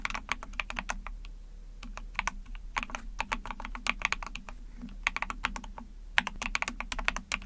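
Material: Plastic.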